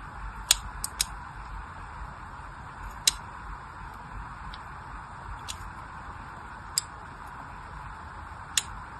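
A blade tool scratches lines into the surface of a solid pink soap bar held by fingertips with long nails. Seven short, sharp, bright scraping clicks land at irregular intervals over a steady low hiss, each dying away almost instantly.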